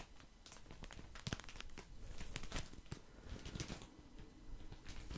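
A full, soft plastic package of cotton pads is held in the hand while fingertips squeeze and scratch it. Dense crinkling and crackling ripple steadily over a low rumble, with brief sharper crackles standing out here and there.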